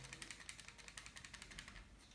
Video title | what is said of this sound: Unboxing and Testing My Brand New Cubing Timer!! | something slightly rattling on the inside, probably a wire or cable or something like that